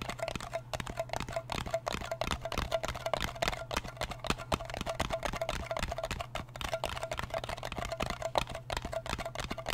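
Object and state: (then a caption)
Metal cream tin. A fingernail taps on the lid of a small, round, blue metal Nivea cream tin, then on its side wall. The result is a quick, steady run of dry, clicky taps with a faint metallic ring around 580 Hz. A constant low hum sits underneath.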